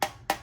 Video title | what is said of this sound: Learn How a Boiler Heating System Works and Read Flags to Look For! #homewatch #homewatchdanpowell | you hear how it sounds with the water in it